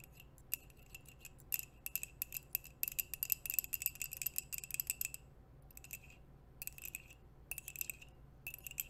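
A white ceramic coffee mug held in both hands is tapped with long nails and metal nail rings. The taps are rapid, short, bright clicks with a high, glassy ring, coming in quick bursts separated by brief pauses. A faint low hum sits underneath throughout.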